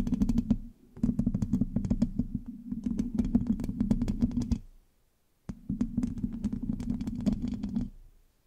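Long acrylic nails on both hands scratch and tap the hollow black metal mesh grille of a large USB microphone. Quick, dense clicking taps ring with a hollow, boomy low resonance, coming in three bursts separated by short pauses.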